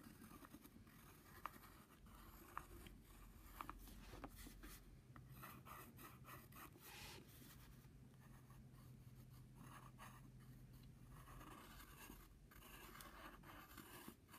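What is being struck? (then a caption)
Padded paper envelope and pencil. A pencil tip slowly scratches curved lines on a flat brown padded paper envelope with its flap open, making a quiet, continuous dry scratching and rubbing sound. Three sharp ticks stand out in the first few seconds, and a faint low hum sits underneath through the middle of the clip.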